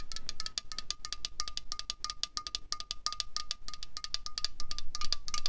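A slim 0.33 L Coca-Cola Cherry aluminium can, held in the hand and hollow, is tapped quickly with long fingernails. The result is a rapid, uneven run of sharp, bright clicks over a thin metallic ring near 1.2 kHz. The tapping grows louder toward the end.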